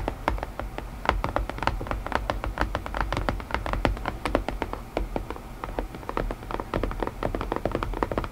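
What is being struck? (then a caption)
Small cardboard puzzle box. Long painted nails tap rapidly and steadily on the lid of a closed, hollow, palm-sized white printed cardboard puzzle box. Each tap is a quick, dry click with a brief bright edge over a soft, low, hollow thud, and it dies away almost at once. The taps run in an uneven stream over a faint low hum.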